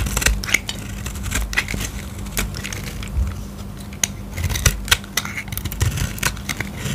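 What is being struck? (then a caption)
Soap bar. A metal utility-knife blade scrapes and slices curls off the edge of a solid oval blue dry soap bar held in the fingers, and the shavings crumble away. Dry, crisp scraping and brittle crackling come as quick, sharp ticks with no ring, over a low, steady hum.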